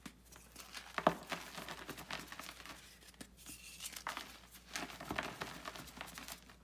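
Bare fingers squeeze and crumble a solid pressed block of gym chalk (magnesium carbonate) in a white bucket, and powder falls from the hands. The clip is a quiet run of dry, crinkly crunches and gritty crackles that rise and fade irregularly, with brief sharper snaps near the start and middle.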